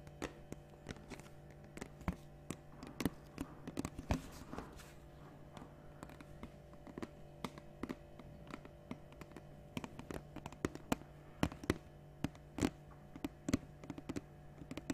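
A large, capped 1.5 L clear plastic water bottle is held upright and tapped with long dark nails. The result is many quick, soft, dry taps and light clicks with almost no ring, over a steady low hum.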